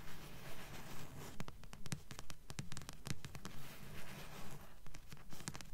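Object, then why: Paperback book with card cover. Long nails tap and scratch the glossy card front cover of a thick blue paperback book with a solid paper block, held upright. Soft, low, dull taps fall in a steady, fairly regular rhythm, with short bright scratchy clicks between them and very little ring.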